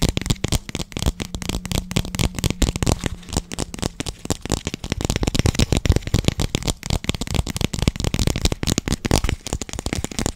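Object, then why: Small thin plastic cup. A small, hollow, empty translucent pink plastic cup is held in both hands close to the microphone while fingertips tap and squeeze its walls. The result is a dense, rapid stream of short, dry clicks and crackles with a heavy low thump to each tap. A faint steady low tone runs beneath the first half.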